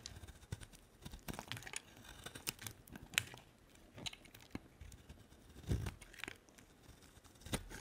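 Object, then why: Bar of soap. A solid white faceted bar of soap, held in the hand, is cut into chips with a utility-knife blade. The result is a quiet series of crisp, dry snaps and short scraping crackles, each with a brief bright edge and a soft low thud, dying away almost instantly.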